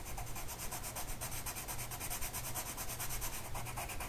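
A blue colored pencil tip is rubbed across a flat printed mandala sheet of paper lying on a table and held by one hand. The result is a steady, scratchy rubbing with quick repeated strokes, a bright papery hiss over a low rumble.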